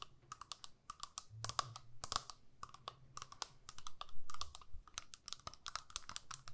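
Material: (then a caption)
Plastic. Long nails tap and scratch the front and back of a small, flat, hollow plastic eyeshadow compact. The result is a quick, irregular run of sharp, dry clicks with bright tops and a hollow tone around 1.1 kHz, over soft scratching and a faint low rumble.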